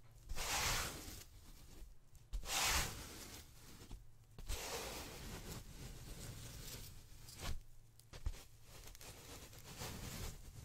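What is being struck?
Polyethylene foam packaging sheet.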